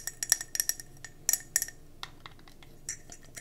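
Long nails quickly tap and scratch a round gold mercury glass candle jar with a metallic rim, held in the hands. About thirteen bright, irregular clinks and ticks are heard with very short ring, mixed with faint scratching between them.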